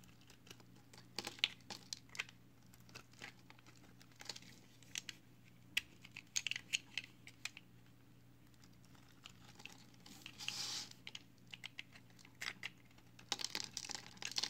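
A solid pale green recycled soap bar, held in hand, is carved with a utility knife blade, producing crisp, bright scraping and crinkling crackles with short, sharp clicks over a faint steady low hum. The cutting pauses briefly in the middle, leaving a quieter stretch, before the bursts of bright shaving resume.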